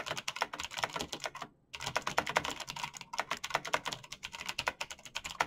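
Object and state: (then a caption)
Plastic mechanical keyboard being typed on. Fingertips of hands in fingerless knit gloves type fast on a black plastic mechanical gaming keyboard with clicky green switches, backlit keys and a hollow case. A rapid, steady stream of sharp, bright clicks and taps centers around 900 Hz, with little low end, and each one stops almost instantly. There is one brief pause about a third of the way through before the typing resumes.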